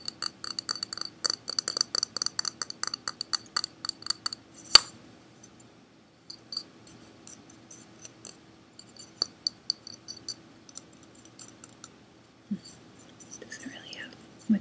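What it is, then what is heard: Hard plastic object. A hard plastic object bought at Target, called a "Dipple," is tapped, giving bright, dry clicks with almost no ring. A fast run of taps is followed by one sharper, louder knock, then quieter, scattered taps and some faint rustling near the end. The object is judged to make a really great sound.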